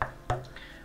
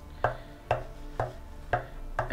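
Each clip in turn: First: dense section of ash bowl blank. Second: dense section of claret ash wood blank.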